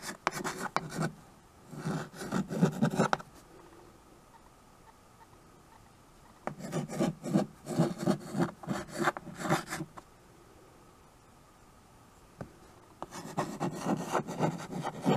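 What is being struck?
Chalk stick on a painted chalkboard.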